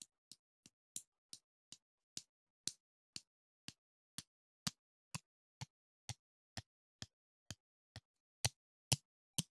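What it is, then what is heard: Metal mesh microphone grille scraped with chopsticks. Two wooden chopsticks scrape and rub across the hollow metal mesh grille of a silver microphone, giving a filing-like rasp. About 20 short, separate strokes come at a fairly steady pace, each a bright, gritty scratch with a soft low thump underneath and almost no ring, with silence between.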